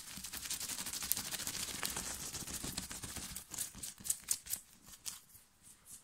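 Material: Cotton.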